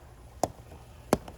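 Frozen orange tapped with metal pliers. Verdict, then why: Solid. An orange chilled in an acetone and dry ice bath is tapped with cold pliers, giving two short, hard knocks and a fainter third that sound solid. The outside is frozen hard and brittle, but the inside has not frozen through.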